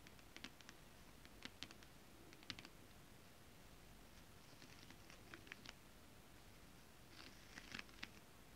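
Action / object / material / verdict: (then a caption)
tap / holographic foil scale-pattern fabric / foil fabric / none. Long nails tap flat holographic foil mermaid-scale fabric, then fingertips and palms rub across it. Quiet, sharp, bright clicks come in scattered clusters over a soft, steady rustling hiss.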